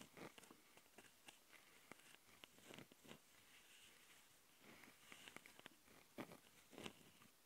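Long nails of both hands scratch the capsule housings of a handheld plastic Tascam audio recorder. The result is a quiet, close, dry patter of bright scratchy strokes and sharp little clicks. Brief louder bursts rise out of a soft hiss.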